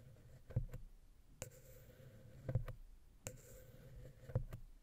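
A wooden ear pick scratches and taps the center of the silver metal XY stereo capsule on a Zoom H6 recorder. Soft, dull thumps and clicks come at an uneven pace over a low, quiet rumble, with brief bright scratchy edges on a few of the taps.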